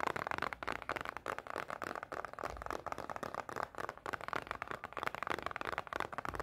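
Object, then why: Small closed cardboard snack box. A small, closed rectangular cardboard Pocky snack box is held in the hand and tapped and scratched with long painted nails. The result is a dense, fast stream of dry clicks and scratchy rustling, centered in the mid range with little low end.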